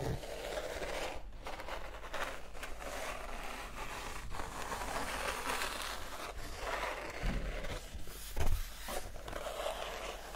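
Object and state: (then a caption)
Paperback book pages scratched and tapped with nails. Long acrylic nails tap and scratch the matte paper pages of an open softcover art book held up in both hands. A steady dry scratching and rubbing runs throughout over a low hum, broken by a few louder, short taps toward the end.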